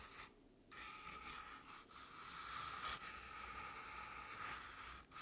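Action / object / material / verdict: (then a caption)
scrape / artificial pumpkin covered in crinkled paper / paper / none. Long painted nails scratch and tap the sides of a medium artificial jack-o'-lantern covered in crinkled orange paper. A continuous, dry papery scratching with a steady mid-pitched tone runs through the clip, broken by a brief quiet gap near the start and a few short dips.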